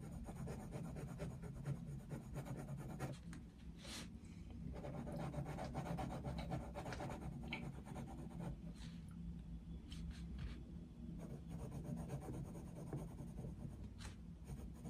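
The tip of a wooden coloured pencil scratches across the thin paper page of an open colouring book lying flat on a desk in continuous shading strokes. The result is a quiet, steady rubbing and scratching sound with a heavy low rumble and occasional brief bright scratchy bursts.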